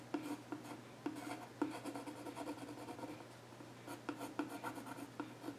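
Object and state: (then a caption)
Wooden stool top, pencil scratching. A yellow pencil scratches drawing lines across the flat top of a solid, dark-stained wooden child's stool while the other hand holds its edge. Soft, continuous scratching rasps are punctuated by several sharper taps where the lead meets the wood, with a faint woody resonance near 300 Hz. A steady low hum sits underneath.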